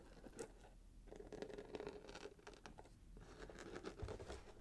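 A small rectangular cardboard gift box, wrapped in red patterned paper with a gold ribbon, is turned in the hands while fingertips tap and scratch the wrapped surface. The result is quiet, soft, papery scratching and patter, broken by light taps with short thuddy low ends.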